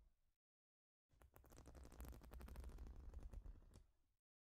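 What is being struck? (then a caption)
Plastic studded baseplate. Long nails rapidly tap and scratch across a large, flat plastic Lego-style studded baseplate. A brief faint scratch is followed by a short silence, then about three seconds of quick, dense clicking and rasping that swells slightly before fading out. The overall sound is quiet and close, with most of its energy low in pitch.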